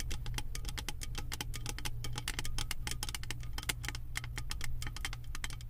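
Long nails tap and scratch rapidly across the beaded pattern of an embossed metal lid on a candle jar. The result is a dense stream of quick, bright metallic clicks and scrapes with almost no ring, over a steady low hum.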